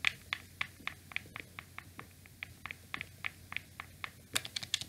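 Thumbs and fingers press and click the buttons and triggers of a black, hollow plastic PlayStation 2 DualShock controller with a cable. About 21 short, dry, bright plastic clicks sound at an uneven pace, each centered around 2.4 kHz and dying away almost at once. A louder, denser burst of clicks closes the clip.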